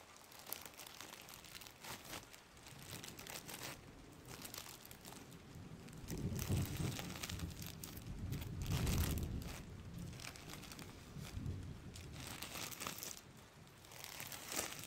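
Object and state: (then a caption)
Crinkled plastic bag. A thin, empty, hand-sized clear plastic bag is held in front of the face and crumpled and rubbed with the fingertips. It makes a steady stream of crinkling and crackling with bright, sharp snaps over a soft low rumble. The crinkling swells louder around the middle and then eases back to a quieter rustle.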